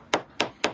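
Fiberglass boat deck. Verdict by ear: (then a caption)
Solid. Three sharp taps on a sailboat's fiberglass deck near the salon doors, each a short bright knock that dies away quickly. The taps check for rotten core, and this spot sounds solid and good.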